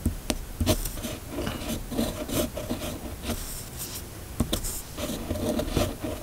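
A steel fountain pen nib on a red pen is drawn across a flat, thin sheet of white paper in continuous cursive strokes. The result is a soft, dry scratching rasp that comes in short bursts with brief pauses and occasional sharp ticks. The sound is mostly low-mid with little bright content.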